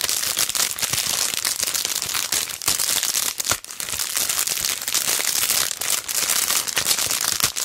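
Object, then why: Sticker sheet in a thin plastic sleeve. A flat, rectangular silver chain-look jewel sticker sheet on a backing card in a clear plastic sleeve is held in both hands, bent and crinkled while long dark nails rub the plastic. It makes a dense, bright, steady crinkling and crackling with many quick snaps and almost no low end. The sound briefly dips near the middle before resuming.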